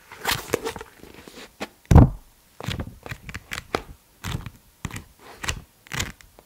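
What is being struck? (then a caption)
Paper book. A paper book is tapped with the fingers in a quiet, uneven rhythm of soft, dull thuds. The taps are mostly low in tone with brief bright edges, and one stronger tap stands out near the two-second mark. Each tap dies away almost at once, with short silent gaps between them.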